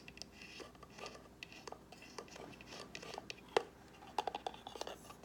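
Long nails scratch and tap the sides and lid of a small, hollow white cardboard gift box with gold-foil edges. Soft, papery scratching is broken by a quick, uneven series of dry, short taps that die away almost instantly, with one sharper tap standing out near the middle.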